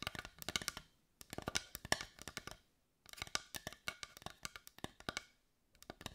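Long white nails tap and scratch the grained surface and edge of a carved wooden heart, seen edge-on. Quick, dry, bright clicks come in rapid bursts separated by short pauses, each tap dying almost instantly with little low end.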